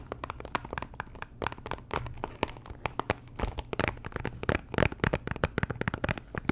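Long nails tap and scratch a small pink Chanel perfume box made of cardboard, likely still in its cellophane wrap, and the box sounds hollow. Quick, dry clicks and crinkly scratches come in a dense, uneven stream with no ring after each tap, over a faint steady low hum.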